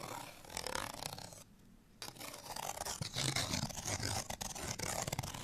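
Fingernails scratch a small, thin, flat printed cardstock bottle tag held in the hand, making dense, bright, rasping scrapes. The scratching pauses briefly for about half a second, then resumes with quick, irregular strokes.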